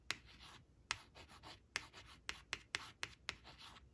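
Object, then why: Coated paper flash card on cloth. Long acrylic nails trace and scratch the letters on a thin coated paper flash card printed "white," lying flat on woven cloth. Nine sharp, bright nail taps ring out, each followed by soft, airy scratching strokes across the paper. The sound is quiet and close, with almost no low end.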